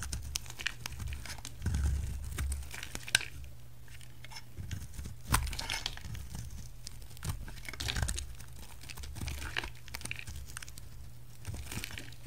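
A utility knife blade carves a solid purple oval bar of soap, peeling thin slices from its surface. Soft, crisp scraping and crinkly shaving sounds come in short bursts, with sharper clicks where the blade bites in, over a steady low hum.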